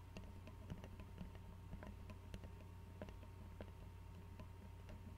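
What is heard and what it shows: An Arizona glass tea bottle with a white screw cap, filled with tea and held sideways, is tapped rapidly by fingernails on its neck and cap. The result is quiet, irregular, short clicking ticks over a steady low hum.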